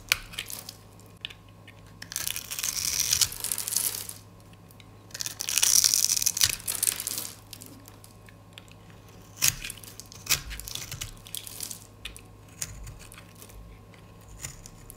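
A metal utility-knife blade scrapes and shaves the grid-scored surface of a round, solid, pale green dry soap bar held in one hand, turning it into crunchy crumbs. Two long bursts of bright, dry, crackling scraping are followed by scattered sharp crunches and crisp ticks over a quiet background with a faint low hum.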